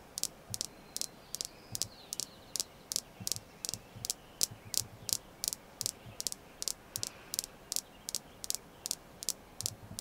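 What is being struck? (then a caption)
Red jasper stone. Continued tapping on a red jasper crystal stone gives 29 short, sharp, bright clicks at an uneven pace, each dying away almost at once. The taps are quiet and high-pitched, with little low end beneath them.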